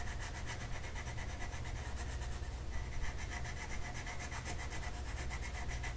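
A purple colored pencil rubs across a flat paper mandala coloring sheet, making a steady, rhythmic scratching of quick repeated strokes with a bright, papery texture. A constant deep low rumble sits beneath the strokes throughout.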